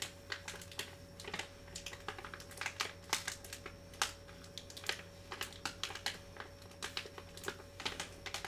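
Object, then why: Metallized plastic foil pouch of cough drops. A small Vicks cough drop pouch made of metallized plastic foil and filled with drops is held close in both hands, crinkled and tapped with fingertips and short nails. The result is a quick, irregular run of crisp, bright crackles and clicks that stop sharply, over a faint steady low hum and tone.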